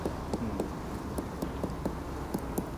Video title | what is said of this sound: Árboles de Hiroshima II | これったら鈍い音がしまして。うん。これ全く空洞とかそういうものはない状態なんですけど